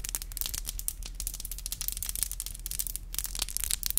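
Long black glossy acrylic nails with hollow tips are tapped and rubbed against each other with both hands close to a microphone. Dense, rapid clicky taps and scratchy rubbing sit over a steady low hum, with bright, sharp clicks that die away instantly.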